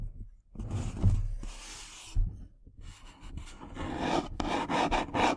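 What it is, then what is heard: Cardboard tea box. Long nails scratch and rub the surface of a small, hollow, printed cardboard tea box, first as it sits on the table and then while it is held in both hands. Dry, papery rasping comes in uneven bursts, with dull hollow bumps early on. The scratching grows denser and brighter toward the end.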